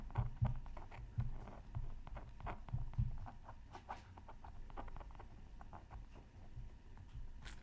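A pointed bamboo stylus scratches lines into a flat, black-coated Mythical Creatures Super Scratch Art Pad card, about 20 cm square, resting on a mat and partly covered by a sheet of tracing paper. Short, irregular scratchy strokes come through with dull, low thumps underneath, fading quickly with almost no ring.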